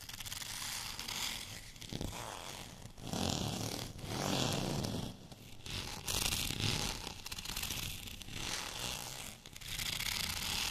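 Short fingernails of both hands scratch along the length of a long white plastic rolling pin covered in small bumps. The result is a dense, bright, rasping scratch that swells and fades in repeated strokes, with brief quieter gaps between passes.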